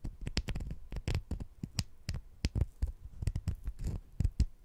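Two small, solid, sugar-coated jelly fruit-slice candies are held in the fingertips, and one scratches against the other. The result is a quick series of short, dull, low-heavy scratching bursts with a faint bright, gritty edge that stop almost at once.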